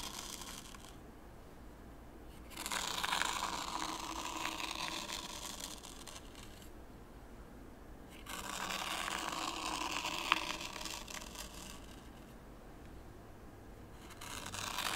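A small wooden rake, held by the fingertips, is pulled through raked white sand in a shallow wooden tray, scraping grooves. Two long, soft, bright gritty scrapes rise and fade, with a quiet pause between them, and a third scrape begins at the end. A tiny sharp tick is heard partway through the second scrape.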